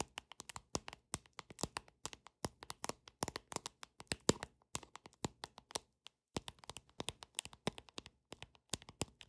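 Long nails tap quickly on a paper deck of playing cards, making a dense run of short, dry, bright clicks with no ring after each one. The tapping is quiet and irregular, with brief pauses near 2.3 and 6.2 seconds.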